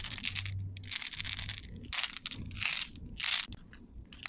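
A handful of small, solid, colorful candy-coated chocolate balls is shaken and rolled in cupped hands with long painted nails, so the candies collide with each other. The result is bursts of bright, crunchy clicking and rattling, with short quiet gaps between them and a faint low hum underneath.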